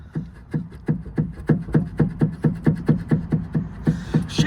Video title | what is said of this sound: Replacing ARB Bushes on Fiat Panda 4x4 - Chasing Knocks! | Shake it! That is the cause of my rattle.